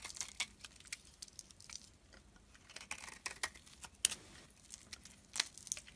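A solid white oval bar of soap with pink remnants is held in the hand and carved with a metal blade. Quiet, crisp scraping and crackling cuts sound in irregular bursts, bright and dry with no ring. A few sharper snaps stand out among the softer shaving sounds.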